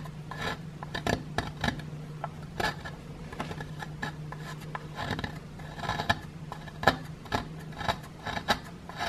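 A small, solid grey plaster block with a plastic dinosaur skeleton embedded in it is held in one hand and scraped with a wooden digging stick. It produces a series of short, dry scratching and rasping strokes with a gritty, bright edge. A steady low hum runs underneath.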